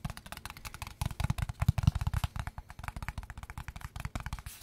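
A small, hollow kraft cardboard product box is held in the hands and turned while fingertips and short nails tap rapidly across its faces and edges. The taps are dry, hollow, low thuds with very short decay, and some carry a faint clicky top. They come in an uneven, continuous patter that grows louder and denser in the middle.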